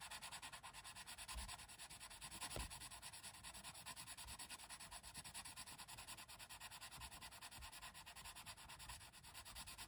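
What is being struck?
Colored pencil lead on a thin printed paper page.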